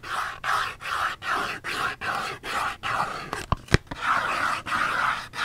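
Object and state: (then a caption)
Cardboard soap box. Long fingernails tap and scratch on a small Dove cardboard soap box that holds a bar of soap and is held in the hand. Quick, rhythmic rasping strokes alternate with a few sharp, dry clicks in the middle. The sound is papery and mid-toned, with a slightly bright edge.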